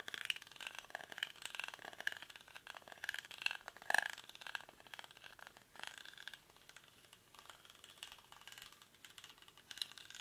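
Fingernails scratch the weave of a hollow, cylindrical woven rattan or reed basket held in both hands. The result is a dense, dry, crackling scratch of quick ticks and rasps, centered around 1.7 kHz with bright upper hiss and no low end. It swells in busier bursts early on, then settles into softer, sparser scratching.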